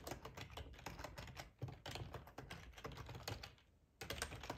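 Fingertips with short nails type on a hollow black plastic ergonomic split keyboard resting on a plaid tablecloth. They produce a steady stream of quick, hollow plastic clicks with a low thumpy body. The typing briefly pauses near the end, then resumes.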